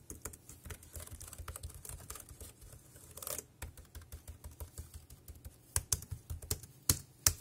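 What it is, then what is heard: Plastic wireless keyboard. Fingertips type rapidly on a compact dark grey plastic Bluetooth keyboard with round keys and a hollow body, resting on a black plastic bag. A quick, uneven stream of short, dry clicks carries a bright top and a hollow low thump, with a few louder clacks standing out toward the end.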